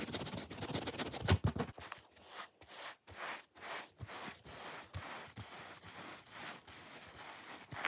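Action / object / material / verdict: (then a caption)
scrape / hand-sized foam sponge / foam / none. Long fingernails scratch quickly across the red top and the side of a solid, hand-sized, watermelon-shaped foam sponge held in the hand. The result is dry, rustling scrapes: a dense, louder flurry at first, then a steady run of separate strokes with bright, hissy texture and a soft low thump at each one.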